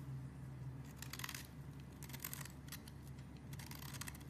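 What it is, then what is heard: Bar soap being shaved with a blade. A metal utility-knife blade shaves thin flakes off the face of a solid purple branded bar of soap. Bursts of dry, bright scraping come in three runs over a steady low hum, and the whole clip stays quiet.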